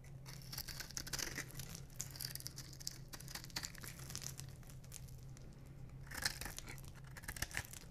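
A solid light blue bar of dry soap is scraped with a metal knife blade and crumbles in the hand, the same piece throughout. Dense, dry, crunchy scraping and crackling fill the clip with bright, gritty bursts, over a steady low hum. The soap breaks apart into crumbling bits, with a louder flurry of crunches near the end.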